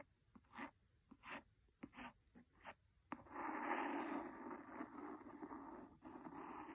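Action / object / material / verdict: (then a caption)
scrape / cloth-covered hardcover book / cloth, board / none. A large, solid, red cloth-covered hardcover book lying flat on a fluffy rug is tapped and scratched on its cover with the blunt end of a wooden pencil. A few separate, soft, dry strokes and taps come first. From about three seconds on, a steady, continuous scratching fills the rest of the clip at a quiet level.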